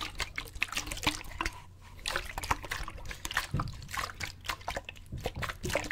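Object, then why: Plastic water bottle with water. A clear plastic sports bottle with a gray cap, hollow and partly filled with water, is held up and tilted back and forth so the water sloshes inside. Rapid, irregular splashes, trickles and drip-like plinks sound bright and short over a faint, steady low hum.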